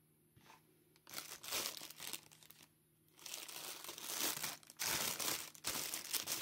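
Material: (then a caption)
Plastic film. Hard black plastic claws on plush-gloved hands crumple and scratch an empty, thin, clear plastic packaging bag that is soft and hollow. Bright, dense crinkling comes in bursts after quiet gaps, growing louder and more continuous toward the end.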